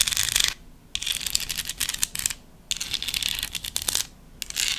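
Long nails tap and scratch a small, hollow decorative pumpkin made of folded book-page paper with a curled stem. The result is bright, crisp papery scratching and rapid light tapping, coming in several bursts separated by brief quiet pauses.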